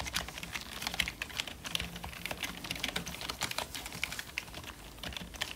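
Gloved fingertips type continuously on the letter keys of a full-size, hollow black plastic membrane computer keyboard. The result is a rapid, steady stream of soft, bright clicks and taps, each dying away almost instantly, centered around 2 kHz over a faint low hum.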